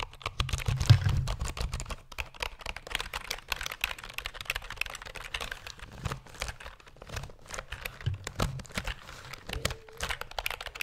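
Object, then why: Plastic computer keyboard keys. A black plastic computer keyboard is held horizontally while fingertips and nails tap its keys rapidly. The result is a dense, continuous stream of short, dry clicks with bright tips over a soft low thud, each dying away almost instantly.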